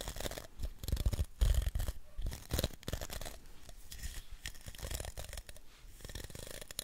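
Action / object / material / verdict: scrape / plastic round hairbrush with bristles / plastic / none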